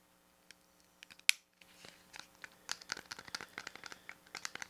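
A small grey-silver plastic pocket calculator with rubber keys and a flip lid, hollow, is held close while fingertips and nails tap and scratch its body, edges and keys. Sparse light clicks build into a busy run of bright, dry taps and scratchy rubs. One sharp, louder click stands out early, followed by a brief silence.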